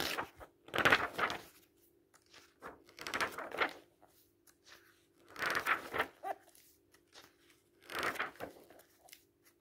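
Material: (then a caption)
Paper. Paper pages of an open paperback book are lifted, bent and turned by hand, giving four bursts of crisp, crinkling rustle spaced a couple of seconds apart. Softer crackles fill the gaps, and a faint steady low hum runs underneath.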